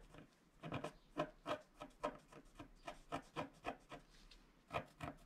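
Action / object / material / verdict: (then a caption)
scrape / wax-coated scratch-art paper scraped with a wooden stylus / waxed paper / none. A wooden stylus scratches the black wax coating off a flat scratch-art card of black wax-coated paper near its bottom edge while fingertips hold the sheet. The result is a series of short, dry, raspy scrapes in quick strokes, each with a papery, midrange rub and brief bright edges.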